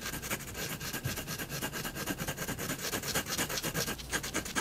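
A fineliner pen tip makes dense, quick hatching strokes across white drawing paper resting on a wooden desk. Each stroke gives a soft, bright scratching rub, repeating at roughly two per second in a slightly uneven rhythm.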